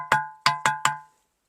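A ringing musical rock is struck four times, each hit giving a bright metallic clang with a clear pitch near 860 Hz. The tone is likened to striking a steel water pot. Each strike rings briefly before the next, and the last fades out quickly.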